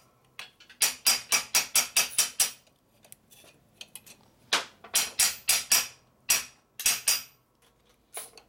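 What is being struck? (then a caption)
Small steel block on a steel press bed. A small solid steel block, held by hand on the steel bed of a hydraulic press during a 1978 Harley-Davidson FL 93 ci stroker shovelhead big-bore motor build, is tapped repeatedly with a small metal hammer. About nineteen sharp, bright metal-on-metal knocks come in quick bursts with softer taps between, each with a brief high ring that dies away fast.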